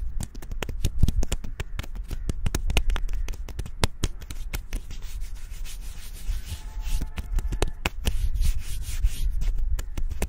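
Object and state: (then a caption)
Tree bark scratched. Fingertips and nails rapidly scratch and rub the smooth bark of a slim, solid tree trunk outdoors. A steady, dense scratchy rustle is broken by many sharp, dry clicks and taps over a heavy low rumble.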